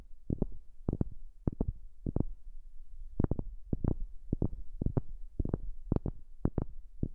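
Fingers tap on a wooden object, recorded up close with a new microphone. The taps are short, dull and low, with almost no ring, and come in a quick, uneven series of small clusters.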